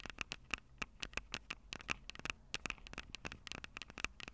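Long purple nails scratch and tap the two small metal-mesh condenser capsules on top of a black plastic Tascam DR-05 handheld recorder, the same recorder that is capturing the sound. About 23 sharp, dry clicks and scratchy pats follow one another unevenly, each carrying a faint metallic ping near 2.6 kHz and a bright, high hiss with almost no ring.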